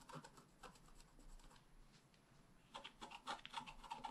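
A wooden stylus tip scratches a flat, black wax-coated scratch-art card, a solid thin page about A5 size lying on a table. Quiet, dry, bright scratching strokes come in quick uneven bursts with a thin raspy tone around 900 Hz. They thin out in the middle, then return louder and denser toward the end.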